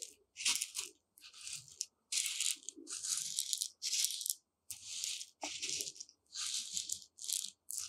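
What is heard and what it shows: Long nails plunge into dry white rice in a shallow dark tray, scratching and stirring the uncooked grains. The result is bursts of bright, crunchy rustling separated by brief silences, with almost no low end.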